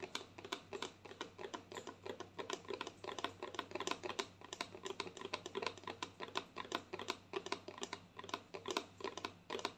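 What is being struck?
Plastic lotion bottle tapped with fingernails.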